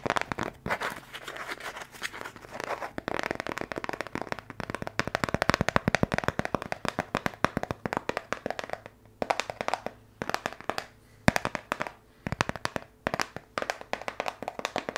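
A small brown kraft cardboard box, held in both hands near the mic, is rapidly tapped with the fingertips. It gives a dense stream of short, dry, hollow taps with no ring, broken by brief pauses near the end.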